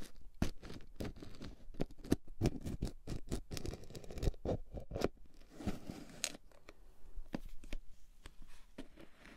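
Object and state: Plastic cosmetic jar.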